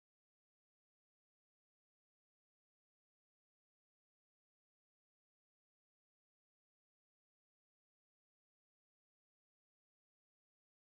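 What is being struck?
Nothing is struck.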